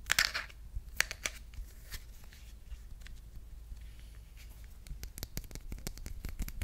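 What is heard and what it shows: A hand-sized smartphone in a solid, hard plastic marble-print case is held in both hands and tapped and scratched with long red-painted nails. Sharp, dry clicking taps come in irregular bursts, mixed with soft scraping over a steady low hum, and the taps grow denser toward the end.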